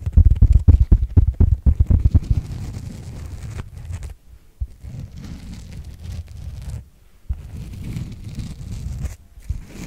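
Fingertips of the right hand scratch across the top and edge of a solid, coarse, open-cell white foam sponge block held in the left hand. Loud, rapid, low scratching bursts fill the first two seconds, then settle into a quieter, steady, muffled rustle broken by a few brief silences.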